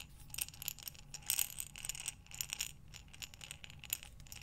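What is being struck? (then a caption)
Buttons in a glass jar. A glass mason jar with a metal lid, filled with buttons, is held sideways and slowly rotated by hands with long dark nails. The buttons clink and rattle against the glass in quiet, bright, short ticks that come in loose clusters over a faint low hum.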